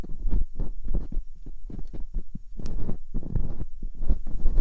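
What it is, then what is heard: Silicone ear of binaural microphone. Metal dental picks scratch and poke inside both canals of the soft silicone ears mounted on a white binaural microphone body. The result is a steady run of deep, muffled thumps and rubbing scrapes, heavy in the low end with almost no bright content.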